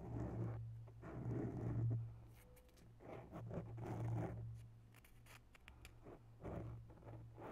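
Long bare nails slowly scratch the sides of a grey foam microphone windscreen up close. The scratching comes in soft, irregular swells of muffled, low rustling over a steady low hum, with brief brighter scrapes between them.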